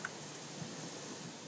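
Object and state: Nothing is struck.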